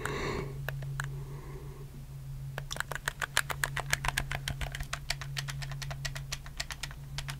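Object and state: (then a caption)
Plastic game controller, buttons clicked. Fingertips click the buttons and triggers of a black, hollow plastic PS4 game controller close to the mic. A few scattered clicks come first, then a quick, uneven run of short, sharp, bright plastic clicks from about two and a half seconds on. A steady low hum runs underneath throughout.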